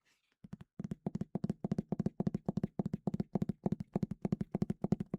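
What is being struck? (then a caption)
Leather-bound hardcover book. Fingers tap rapidly on the cover of a leather-bound Easton Press copy of Grimm's Complete Fairy Tales, giving about 31 dull, low thunks in quick clustered bursts with almost no ring. The result is the soft, satisfying thunk typical of a leather-bound hardcover.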